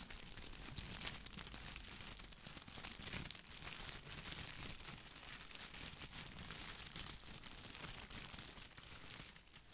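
Fingertips brush and scratch the plastic leaves of an artificial boxwood ball held close to the mic. A steady, bright crinkling and rustling runs for about ten seconds with many small scratchy ticks, easing off slightly at the end.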